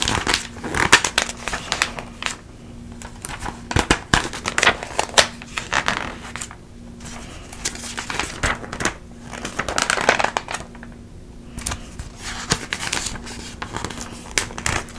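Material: Coated paper.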